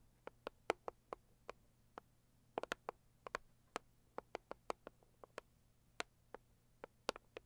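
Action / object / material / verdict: tap / rigid cardboard box / cardboard / none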